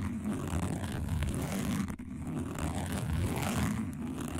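A single fingernail scratches across a round, flat, dark woven plastic placemat. It makes a steady, dense scraping texture weighted toward low frequencies, with a brief dip partway through.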